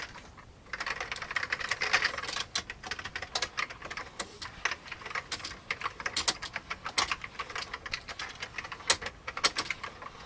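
Fast typing with the fingertips of both hands on a full-size, old, vintage beige plastic computer keyboard. Dense, bright, clicky keystrokes rattle in quick bursts with short pauses. The brief plastic taps decay almost instantly after a quiet first half-second.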